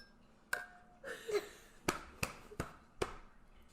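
Drinking glasses, confirmed to be glass rather than plastic, are clinked together in a toast. Five sharp, bright clinks are heard with very short ring, plus a softer smeared rattle near the start.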